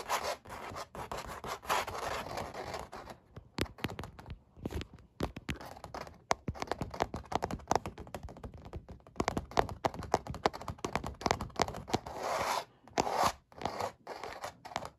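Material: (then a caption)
Canvas. Fingernails scratch and rub across the raised paint strokes of a dog's fur on a textured oil painting, done on stretched, hollow-backed canvas. A steady run of dry, crackly scrapes with a midrange hollow tone is heard, broken by short pauses and quick tapping bursts.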